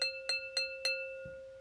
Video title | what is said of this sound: Sonic Exploration with Rain Sounds | it's also high pitched. It's not quite as tinny as this metal bowl.